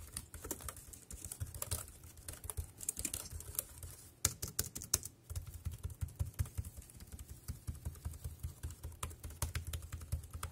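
Fingertips tap the keys of a dark grey compact plastic wireless keyboard resting on a plastic sheet, producing quick, bright clicks in irregular bursts with brief pauses. Each tap dies away almost instantly over a steady low hum.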